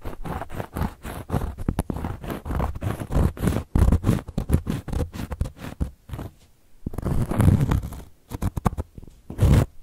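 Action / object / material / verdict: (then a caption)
scrape / cork coaster scratched with long metal-tipped nails / cork / none. Long gold metal claw nails scratch across a round, flat, solid cork coaster in quick, dense strokes that sound dull and low. The scraping pauses briefly near the middle, then returns as longer, heavier rubs before trailing off.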